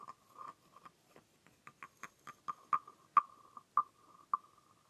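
A green-painted, carved wooden frog guiro with a ridged, hollow body is scraped along its back ridges with a wooden stick. It gives a series of short, irregular ratcheting croaks with a hollow, woody tone around 1.2 kHz, growing louder toward the end.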